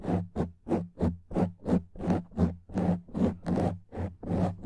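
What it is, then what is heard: Foam microphone windscreen being scratched. Fingertips and nails rub and scratch a black foam microphone windscreen in a steady back-and-forth rhythm, about a dozen separate strokes. Each stroke is a close, muffled, rustling scrape with a strong low thump and a soft, airy top.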